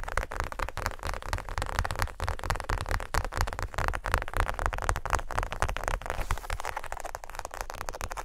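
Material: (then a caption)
Faux leather. A closed tan faux leather wallet, with the edges of paper items inside showing, is tapped and scratched with long nails. The result is a dense, continuous stream of quick, dry taps and scratchy rustling that stays heavy in the low end and fades almost instantly after each touch.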